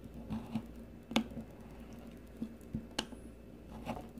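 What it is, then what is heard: Green bar soap being shaved. A solid, rounded green bar of soap, held in the fingers, is shaved with the metal blade of a blue peeler. Soft, squishy scraping strokes recur against a quiet background, with a couple of sharper, bright clicks standing out as the blade bites into the soap.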